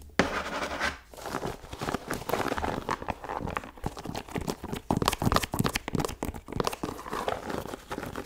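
Long nails scratch along the leather upper and rubber sole edge of an empty white leather sneaker. The result is a steady run of quick, dry, rasping strokes, dense and close, with a bright hiss over a low scuffing body.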